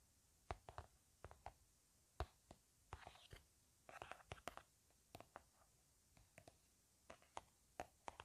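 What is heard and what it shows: Long painted nails tap and scratch along a blueberry-print plastic hand cream tube held horizontally in both hands; the tube is hollow and appears filled. Quiet, crisp clicks come in uneven clusters, broken up by short, soft scratchy rustles, and each tap dies away almost instantly.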